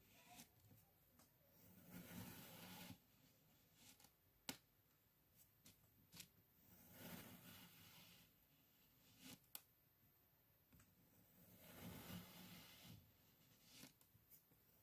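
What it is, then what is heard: Kinetic sand being sliced. A hand presses a thin metal knife diagonally through a flat round slab of pink kinetic sand on a white surface in repeated slicing cuts. Each cut gives a soft, granular scrape and crunch as the blade meets the surface below, with a few sharp clicks between the cuts. The sound is quiet and close.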